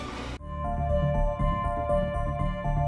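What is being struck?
Nothing is struck.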